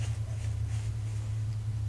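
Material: Nothing is struck.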